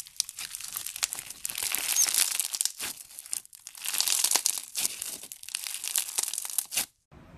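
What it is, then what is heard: Foam bead slime (floam) being squeezed. A large mass of pink foam bead slime (floam) is squeezed and pressed with the fingers and thumbs, giving off dense, bright crackling and crinkling in several bursts. There is a short lull near the middle, and the crackling stops abruptly just before the end.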